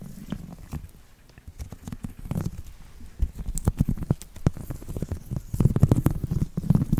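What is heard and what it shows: A round woven seagrass/straw coaster is scratched with a thin copper metal tool and fingertips. Dense, low, dry scratching is broken by many quick, crisp ticks that flash up into a bright hiss. The rasping grows louder and busier toward the end.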